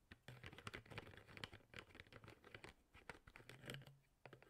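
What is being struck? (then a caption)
Plastic water bottle with plastic sport cap. Fingertips pull, pop and flick the yellow plastic sport cap of a hollow, mostly empty clear plastic water bottle up and down while the other hand holds the bottle. The result is a quick, dense run of dry plastic clicks and taps with bright edges over a faint low hum.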